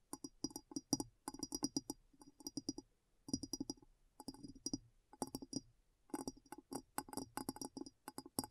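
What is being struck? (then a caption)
Glass bowl. A glass bowl is tapped in quick bursts separated by short pauses. Each tap gives a brief, bright clink with a low tone near 280 Hz and a glassy shimmer up high, dying away almost at once.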